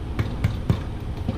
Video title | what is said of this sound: Grandmas Homemade Bread | if you tap it, it should have a hollow sound, and this does